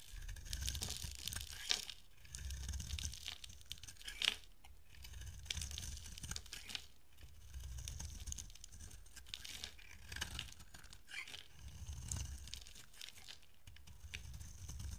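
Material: Soap.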